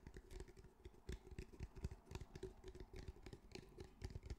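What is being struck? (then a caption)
Fabric-covered cylindrical speaker. A grey fabric-covered cylindrical speaker, held in both hands, is tapped and scratched on its fabric with fingertips and nails. The result is a quick, irregular stream of soft, dull thumps with short scratchy rasps between them. The sound is mostly low and muffled, with a faint steady tone running underneath.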